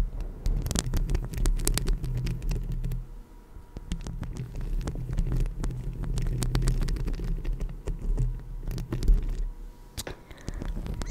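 Long lilac acrylic nails on both hands scratch and tap the hollow metal mesh grille of a rhinestone-covered Blue Yeti microphone. The result is a dense, boomy low rumble around 130 Hz, threaded with quick sharp clicks and scrapes. It eases briefly near three seconds and again near ten seconds before picking back up.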